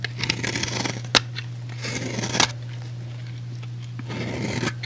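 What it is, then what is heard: Bar soap being scraped. A utility knife blade shaves and scrapes across the surface of a solid rectangular white bar of soap held in the fingers. Three bursts of bright, crackly scraping are broken by two sharp clicks, all over a steady low hum.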